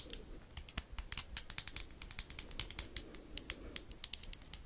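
A small orange plastic disposable lighter with a metal top is tapped rapidly with long acrylic nails close to the mic. The result is a quick, irregular run of sharp, bright clicks with almost no ring, over a soft low background.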